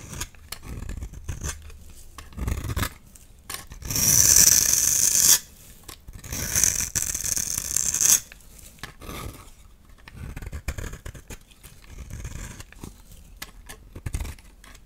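A solid oval peach-colored bar of soap is held in the palm and scraped with a utility knife blade, shaving off powdery flakes. Bright, raspy scrapes come in uneven strokes, with two long, loud, hissing passes in the middle of the clip between softer rubbing scrapes.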